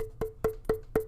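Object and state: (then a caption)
Aluminum water bottle. An aluminum drinking bottle is held up and tapped four times, evenly spaced, to show that it is being drunk from. Each tap gives a short, bright knock with a clear ring near 440 Hz that fades quickly.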